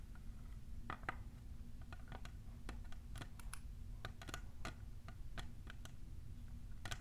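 A tall, clear, hollow printed plastic tumbler is tapped on its sides by long nails fitted with plastic clips. The result is a steady scatter of short, dry, clicky ticks with almost no ring, sitting over a constant low hum.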